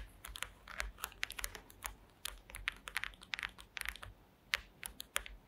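Long green acrylic nail tips tap and scratch across the slats of a woven wooden slat mat, seen close up. The result is a quiet, rapid, uneven series of dry, crisp clicks and scrapes, bright in tone with very little low end, each dying away instantly with no ring.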